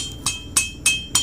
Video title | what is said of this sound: PENYEBAB ENJIN BUNYI KASAR BAHAGIAN BLOK 🔥 | Kalau ni memang dah cukup longgar lah, sebab memang motor ni bermasalah.